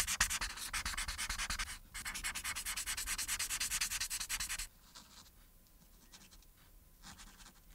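A marker's felt tip rubs quickly back and forth across a thin printed paper sheet lying flat, colouring in the cap and then the buttons. The first part is a dense run of bright, scratchy strokes with a brief pause partway through. It then drops to quieter, sparser rubbing.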